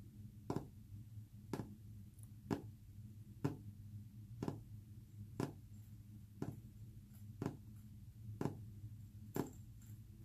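Short fingernails tap a solid, flat, white-painted wood panel about once per second: ten dry, clicky knocks that die away almost instantly. A steady low hum runs underneath the whole time.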